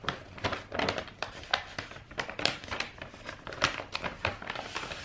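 A long roll of brown kraft wrapping paper with a silver star print, rolled into a hollow tube and held against the chest, is scratched and tapped along its length with long white-painted nails. Quick, bright papery taps and crinkly scratches come in an irregular stream, each with a hollow, short-lived knock.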